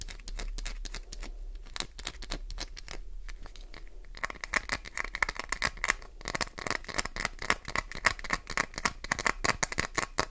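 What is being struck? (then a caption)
Glycerin soap bar. Long nails rapidly tap and scratch the edge of a solid, translucent green glycerin soap bar, sending soap shavings flying. Dense, dry clicks and scrapes rattle on continuously, growing brighter and busier after about four seconds with a sharper, more crisp tone.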